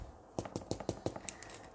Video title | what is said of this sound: Poppy Seed Bread | Tap it and it's hollow.